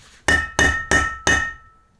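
A steel bearing race in a wheel hub is struck four times with a hammer. Each hit gives a sharp, solid metallic clank with a bright ring near 1.8 kHz that fades between blows. The race is fully seated: the sound has changed from hollow to solid metal, which means the hammering is done.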